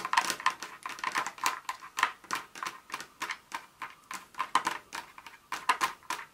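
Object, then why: Pieces of dark chocolate on a countertop. Very long nails scratch and tap a pile of small, solid broken dark chocolate bar pieces, then rake around the edge of the pile on a countertop. About thirty quick, dry, clicky taps with a bright edge, a slight ring near 1 kHz, and no low end. Each tap dies away almost instantly.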